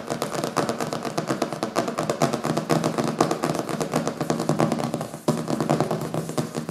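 Fingertips and nails rapidly tap and scratch the glossy printed board on the back cover of a thick hardcover book with a printed paper cover, resting solidly on a wooden table. The result is a dense, continuous patter of short, dull taps mixed with dry scratching, mostly low-mid in tone. There is a brief dip just past the five-second mark before the tapping resumes.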